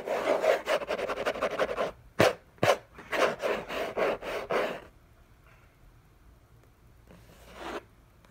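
Fingertips and short nails scratch and rub the hollow lid of a large, flat, orange Hermès cardboard gift box, producing fast, dry, rasping strokes with a papery mid-range body. Two sharp, bright scrapes stand out, followed by a run of rhythmic rubbing bursts. The sound then falls nearly silent except for one faint, soft brush near the end.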